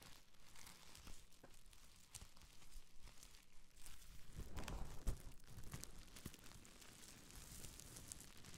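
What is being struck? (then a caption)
Plastic bubble wrap. A small folded bundle of clear plastic bubble wrap is held close to Rode NT5 microphones and crinkled and scratched with long nails and fingertips. It makes dense, irregular crackling and crinkling with a low rumbling body, swelling louder around the middle with a sharp peak near five seconds before settling back to a softer, steady crinkle.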